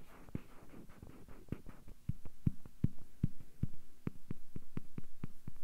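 A small hollow yellow rubber or vinyl bath duck with a dark base is held close in both hands and scratched and tapped with fingertips and nails. Soft, scratchy rustling gives way to a quick run of short, dull, low taps that grow louder and more steady, each dying away almost at once.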